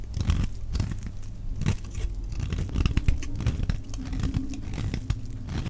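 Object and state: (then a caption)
Bar soap being shaved. A solid, dry yellow laundry-type bar soap held in the hand is shaved into flakes with a metal utility knife blade. The result is a steady series of low, dense scraping and crunching strokes with brief, sharp tearing bursts.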